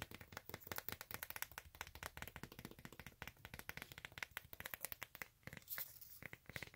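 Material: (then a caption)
Rubber. Long acrylic nails tap and scratch quickly across the ridged surface of a textured beige rubber/synthetic outsole of a flat sandal, which is solid and held up. A rapid, dense stream of short, dry clicks comes through, with almost no ring, and bright scratchy texture between them, centered around 2 kHz.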